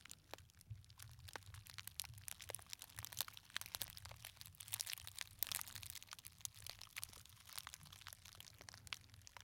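A small, hollow gold glitter fabric clutch purse with a metal clasp is held beside the microphone and squeezed and crinkled with the fingers. The result is a dense, continuous stream of bright, crisp crackles and sharp ticks over a faint low hum.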